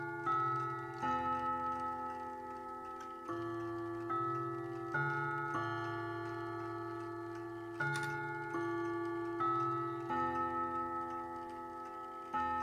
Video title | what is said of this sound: Junghans Mantel Clock Gong Rod Replacement & Tuning 4of7 | it sounds nice and mellow. It's not sort of too tinny sounding.